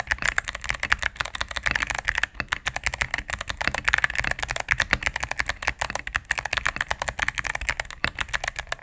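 A cream full-size mechanical keyboard with plastic keycaps on a solid plastic case is typed on rapidly with fingertips and medium nails. The result is a dense, continuous stream of sharp, clicky key presses, brightest around the upper mids with crisp highs, plus a faint low hum underneath.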